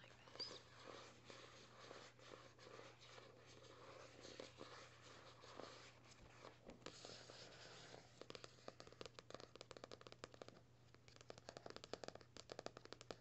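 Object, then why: Paperback book with cardstock cover. Fingertips and short nails scratch across the matte cardstock cover of a closed teal "ReFRESH" paperback, a solid stack of paper, with soft, continuous scratching and rubbing for the first several seconds. Then comes a run of quick, dry, sharp taps on the cover, over a faint steady low hum.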